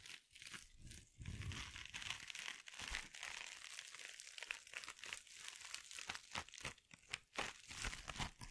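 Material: Plastic mesh.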